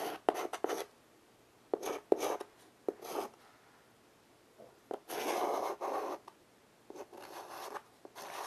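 White chalk held in fingers rapidly scratches and shades lines across a small wood-framed blackboard resting on carpet. Quick, dry, gritty strokes come in short bursts separated by pauses, with a longer sustained shading rub in the middle. The scraping has a bright, papery texture and no low end.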